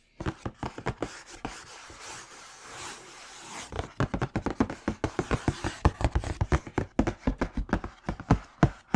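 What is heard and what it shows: Fingertips and nails tap quickly on the lid and side of a large black Air Jordan 4 "Bred" cardboard shoe box with its lid on, held up in the air. The box gives short, dull, hollow knocks, mostly low in pitch. A stretch of quieter, softer scratching in the middle separates two runs of taps, and the second run is denser and louder.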